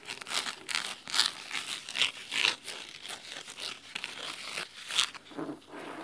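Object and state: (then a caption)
Cloth-bound hardcover book, scratched. Fingernails of both hands scratch the red cloth spine of a large, thick, solid fabric-covered hardcover book. The sound is a quiet, dry, crisp scratching in quick, uneven bursts, bright and hissy with almost no low end and no ring after each stroke.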